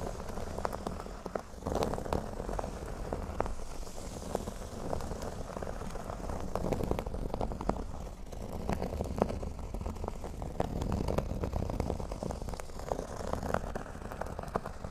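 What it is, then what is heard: Cork board being scratched. A large, flat, speech-bubble-shaped cork board with a black border, solid and thin and lying flat, is scratched with both hands using short natural nails and fingertips. The result is a steady, dense crackling scratch with many quick, dry ticks over a low rumbling base and little high-end content.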